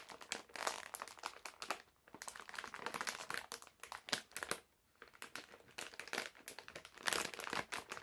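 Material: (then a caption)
Plastic film. A medium printed plastic-film bag full of hard candies is held in both hands while fingertips crinkle and crush the film. The crackling is dense, bright and close, arriving in busy bursts with two short quiet gaps, around the 2- and 5-second marks.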